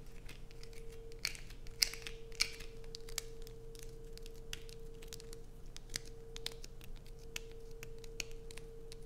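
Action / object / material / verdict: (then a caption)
scrape / bar of soap / soap / none. Long nails scratch and tap a solid blue bar soap with holes and grooves, held in the hands. The result is quiet, dry crackling scrapes broken by sharp, irregular clicks, over a steady low hum.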